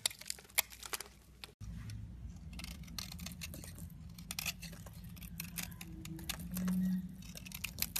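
A hand-held, hand-sized solid yellow rectangular DURU bar soap is scraped and shaved with a box cutter blade, with shavings falling off. Bright, crisp scratching and crackling ticks sit over a low, steady hum, with a brief silent break early on and a slightly louder stretch near the end.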